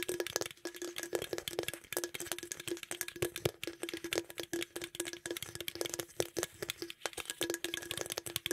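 A green aluminum beverage can is held close to the microphone while fingernails tap and scratch its lid rim and sides. The result is a rapid, irregular stream of quick, rattly metallic taps and scrapes with a hollow tone centered near 375 Hz and bright, crisp highs.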